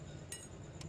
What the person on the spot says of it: आवाज में गूंज है ठीक है ना तो इसका मतलब यह हुआ कि यह जो है हमारा टॉप पल रिंग है